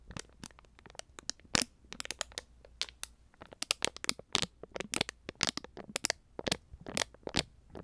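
A small, full plastic konjac jelly cup is crinkled and crackled with fingers and nails close to the microphone. Dense, bright crackles and sharp plastic snaps come in quick, irregular bursts throughout, each dying away almost instantly over a faint low hum.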